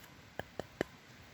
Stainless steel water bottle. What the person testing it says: So the steel is much thicker. You can hear it when you knock on it.